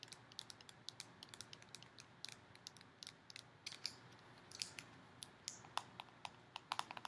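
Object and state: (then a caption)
Plastic slime tub. Long painted nails tap and scratch the clear plastic lid and sides of a small round purple plastic tub full of slime and foam beads, held in the hands. A quick, irregular run of quiet, sharp, dry clicks and ticks sounds bright and crisp with almost no ring, and a few louder taps near the end carry a brief hollow tone around 1 kHz.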